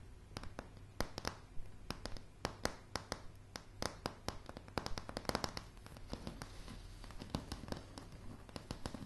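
Long polished fingernails on both hands tap a light, solid wooden plank floor, producing dozens of sharp, dry clicks in an uneven, quick rhythm. Each tap dies away almost instantly over a steady low hum.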